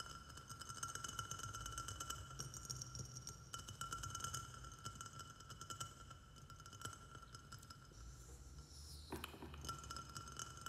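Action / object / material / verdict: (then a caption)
tap / small glazed ceramic plant pot / ceramic / none. Fast fingertip and fingernail tapping on the sides of a small white glazed ceramic plant pot with a saucer, filled with soil and a snake plant. The taps give a steady run of light, clinking knocks with a short, bright ring around 1.4 kHz. Near the end, one hand lifts away from the pot.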